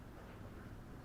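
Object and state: Nothing is struck.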